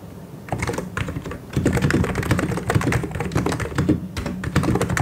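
Both hands type quickly with their fingertips on the keycaps of a full-size white and grey plastic mechanical keyboard. After a quiet start, a fast, dense run of short, dry clacks follows, each keystroke carrying a low thock with a bright tick on top. The clacks stop almost instantly, with no ring between them.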